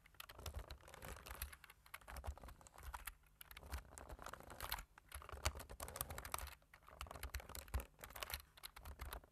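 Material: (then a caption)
Plastic. Two hands tap the keys of a black plastic computer keyboard with their fingertips. The result is a quiet, steady patter of short, dry clicks in bursts with brief pauses, mixing soft low thumps with bright key ticks.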